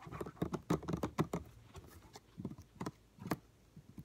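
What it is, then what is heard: Plastic spray bottle. Fingertips and nails tap and scratch a hollow yellow plastic Lysol cleaner spray bottle. A fast, irregular run of dull, hollow taps comes first, followed by slower, spaced taps, each a short low knock with a faint scratchy edge and almost no ring.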